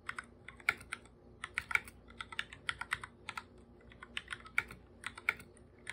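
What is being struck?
Plastic computer keyboard.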